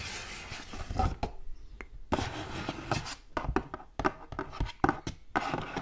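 Long gold metal claw nails tap across the surface of a hollow, purple patterned cardboard gift box as it moves. A quick, irregular series of short, dry, hollow taps is heard, mixed with soft rubbing and scratching, each tap dying away almost at once.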